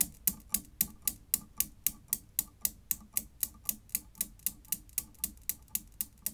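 A desk Newton's cradle with five small solid chrome steel balls hung on strings in a frame on a dark base clacks as an end ball swings and knocks into the row. About 25 sharp, bright metal-on-metal clicks come at a steady pace of roughly four per second, each dying away almost instantly with a faint low thump beneath.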